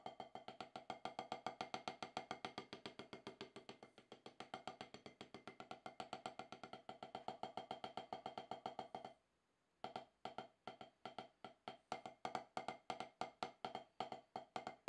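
Wooden drumsticks strike a solid octagonal HQ rubber-top drum practice pad in a fast, steady stream of short, dry taps with a knocking tone around 750 Hz and almost no low end. The strokes swell and ease in loudness, stop briefly just after 9 seconds, then resume at the same brisk pace.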